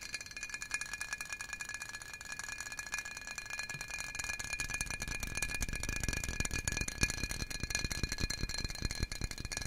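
A medium clear glass jar, hollow and apparently empty, with a screw-on metal lid, is held in both hands and tapped and scratched rapidly with the fingertips and nails. A dense, continuous patter of quick, short clicks runs throughout over steady glassy ringing tones near 1.7 kHz and 2.4 kHz and higher bright ones. A deeper, fuller body of taps builds in from about four seconds on.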